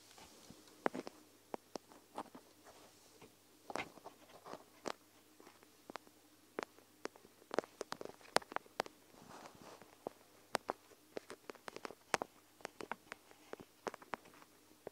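A plastic gel-bead eye mask with a fabric top rests on the recorder while long nails and fingertips tap and scratch its surface and beads. The result is about three dozen quiet, sharp, irregular clicks and taps, mixed with soft, bright scratchy rustles over a faint steady low hum.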